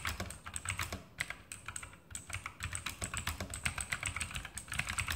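Fingertips of both hands type rapidly on a full-size E-Element Sharpshooter X2000 mechanical keyboard with plastic keycaps, Outemu blue clicky switches, RGB backlight and a metal-top frame, sitting on a desk. About thirty-four sharp, bright clicks come in a fast, uneven stream, each with a short low thud and very little ring.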